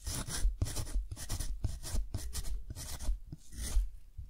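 A metal dip pen nib scratches cursive writing across a deckle-edged sheet of thick, textured cotton paper held down by one hand. Short bursts of bright, raspy scratching come in quick succession, one per pen stroke, with soft low thumps under them as the nib catches and drags on the rough paper. The whole clip is quiet.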